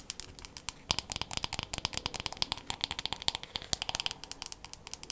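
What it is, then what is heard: Wooden hairbrush. A wooden hairbrush with a solid handle and bristles has its wooden back and handle tapped quickly with long matte nails. The result is a dense run of dozens of short, dry, bright clicks with almost no ring.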